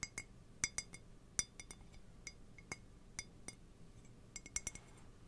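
Fingernails tap the side of an empty, hollow white printed ceramic mug close to the microphone. Sixteen quick, bright clinks come at an irregular pace, each with a high, glassy ping that dies away almost at once over a quiet background.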